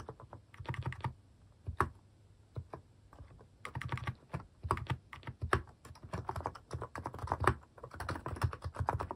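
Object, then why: Plastic mechanical keyboard. Fingertips type on a white-case mechanical keyboard with pastel plastic cat-shaped keycaps. Quick bursts of keystrokes with brief pauses between them produce short, deep, muted clacks that stop almost at once.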